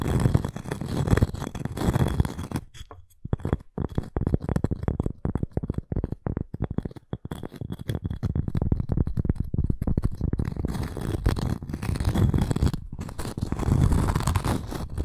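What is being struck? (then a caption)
Cork coaster with wooden rim. Long nails scratch the surface of a round, flat cork coaster with a wood rim, held in both hands. The result is a dense, low, rustling scrape made of rapid strokes, with a brief pause near three seconds and a quieter, choppier stretch in the middle before the scratching fills out again toward the end.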